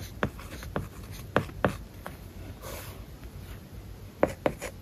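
A plastic stylus writes on a solid, flat iPad covered with a matte, paper-like plastic film, producing a soft, continuous scratching. Several sharp, brief taps and strokes stand out above a quiet background hiss.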